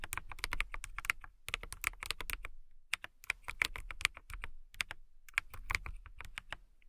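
Fingertips with long nails type on a clear acrylic mechanical keyboard with transparent, clear keycaps. Quick, bright, dry key clacks come in rapid bursts with short pauses between them. A higher tick rings out on some keys over a soft low thump.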